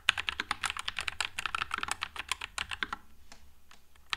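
Fingertips type continuously on a white low-profile Nuphy Air96 mechanical keyboard with Wisteria switches and plastic keycaps, producing rapid, bright, clacky keystrokes with almost no ring. The typing thins out after about three seconds into a quieter stretch, with one last sharp click at the end.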